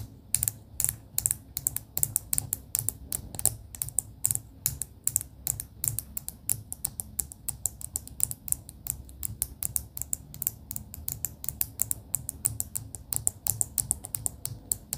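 Long pink acrylic nails tap rapidly on a clear plastic bead pen, a clear plastic barrel with pastel beads inside. The result is a steady stream of quick, bright, crisp clicks that stop almost instantly, over a soft low rumble.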